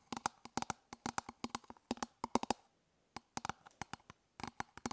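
Long nails tap and scratch the surface of an elongated, hollow, hard-plastic toothbrush travel case held in one hand. About 28 quick, sharp clicks with a hollow, low-mid body and a bright edge come in rapid clusters, with a short pause of near silence partway through. Each click dies away almost instantly.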